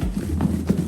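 A lidded container holding catfish pieces, cornmeal and Louisiana seasoning is shaken to coat the fish. The result is a steady, dull, low-pitched rumbling and thumping of the contents tossing inside, with no bright or high tones.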